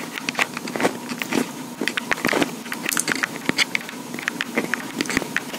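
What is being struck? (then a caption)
Plastic portable recorder body. Long pink acrylic nails tap and scratch the hollow body of a small black plastic Tascam portable recorder with metal mic capsules. A rapid, uneven run of sharp, dry clicks mixes with scratchy, crackling scrapes. Each tap is short and bright with almost no ring.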